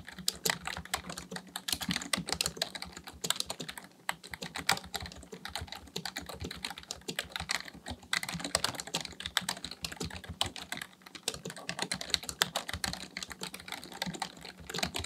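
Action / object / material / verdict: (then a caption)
tap / plastic membrane computer keyboard / plastic / none. Fingertips of both hands type continuously on a black plastic full-size membrane keyboard (Dell KB1421) with a hollow housing, resting on a desk. A rapid, dense stream of short, bright plastic clicks and taps plays throughout, each key press dying away almost instantly.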